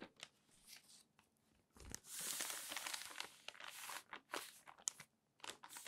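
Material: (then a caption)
Paper. Hands smooth an open newsprint newspaper lying flat on a table, then grip and bend a sheet corner to turn the page, crinkling the paper. Soft, bright papery brushes give way to a louder, sustained rustle as the page lifts and turns, followed by irregular sharp crackles and crinkles with almost no low end.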